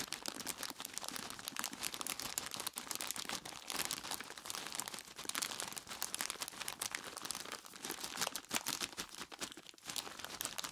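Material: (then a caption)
Plastic, ice. Both hands squeeze and rub a large clear plastic bag full of ice cubes with their fingertips, crinkling the plastic and crunching the ice inside. The result is a dense, continuous stream of bright, crackly crinkles and crunches with almost no low end, steady throughout the clip.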